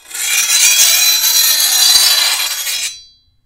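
The edge of a long, thin, solid steel machete blade is filed with a hand-held steel file. A steady, bright, high rasping scrape runs for about three seconds with almost no low end. It then stops, leaving a short, high metallic ring that fades out.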